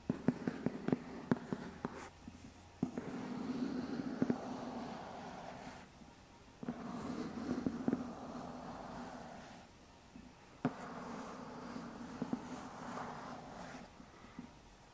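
A medium white lidded cardboard box, hollow, is held up while fingertips lightly scratch its side. The result is a soft, papery scratching with a hollow, boxy resonance centered in the low mids, interrupted by sharp little ticks and brief quiet gaps.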